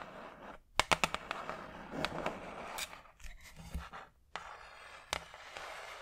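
A large, flat, brown hardboard clipboard, a solid thin board held close to the microphone, is tapped with long acrylic nails. Sharp, bright clicks ring off almost at once, some in quick bursts and others spaced apart, over a soft, hushed scratchy background.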